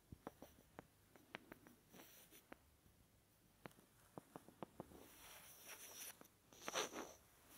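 A small, solid, light wooden block held beside an ear microphone is scratched and rubbed with fingertips. Quiet, sharp little scratch ticks come one after another, with a short woody ring and bright edges. Later they give way to soft, airy rubbing swells that grow loudest near the end.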